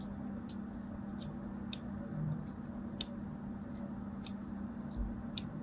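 A fine craft blade cuts a crosshatch pattern into a solid white and teal striped soap bar held in the hand, shedding small flakes. Short, bright, crisp ticks of scraping and cutting repeat over a low steady hum.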